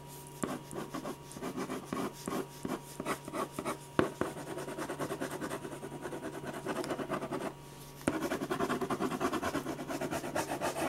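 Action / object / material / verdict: scrape / ballpoint pen on a paper sketch pad / paper / none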